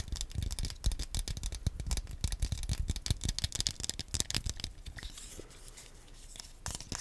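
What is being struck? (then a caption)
Small plastic game controller. A small, hollow, black plastic Wii nunchuk held in both hands close to the microphone is tapped and scratched with fingernails. Rapid, dry clicking taps with a low hollow thump and bright edges fill the first five seconds. They give way to a quieter, softer fingernail scratch, then a few final taps.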